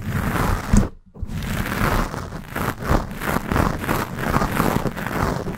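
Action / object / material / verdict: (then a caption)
scrape / foam microphone windscreen / foam / none. Long painted nails scratch a black foam windscreen on a Blue Yeti microphone. It makes dense, close, muffled rustling and crackling with a heavy low rumble and rhythmic strokes that speed up and slow down, broken by a brief silence near the one-second mark.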